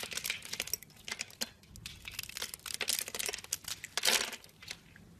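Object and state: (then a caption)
Bar of soap being carved. A utility blade scrapes small cubes off a solid, hand-sized blue and white striped soap bar that is scored in a grid and held in the fingers. A rapid series of dry, bright crinkling scrapes and crunches with almost no low end, each cutting off quickly, with a louder cluster near the end.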